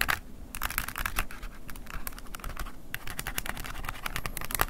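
An open silver plastic flip phone held in hand has its plastic keypad buttons scratched and tapped with a wooden ear pick. Quick, bright clicks and dry scratching come in an uneven, steady stream over a soft low background rumble.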